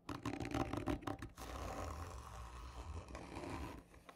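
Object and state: Cardboard tube scratched.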